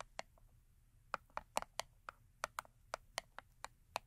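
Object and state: Cardboard soap box.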